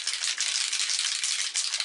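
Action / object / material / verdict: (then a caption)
shake / small bottle of model paint with glitter flakes / paint / none. A pot of Black Amber model paint, full of small glitter flakes, is shaken hard before airbrushing so the flakes mix in. It gives a steady, bright, hissy rattle with quick rhythmic pulses and almost no low end, lasting the whole clip.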